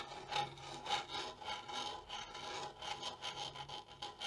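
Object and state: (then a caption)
Wooden bongo drum, scratched and rubbed. Long nails scratch the wooden shell of a small, hollow wooden bongo drum, then fingertips rub its hide head. The result is a steady, dry rasping texture with bright, hissy strokes and a faint tonal ring near 820 Hz, swelling and fading with each pass.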